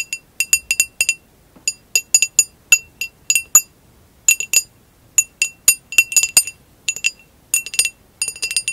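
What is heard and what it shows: Long acrylic nails tap and scratch the sides of a hollow, empty amber textured glass vase lying on its side with its bottom facing forward. About 35 bright, high glassy clinks come in irregular quick clusters separated by short pauses. Each ring dies away almost instantly with no low-end body.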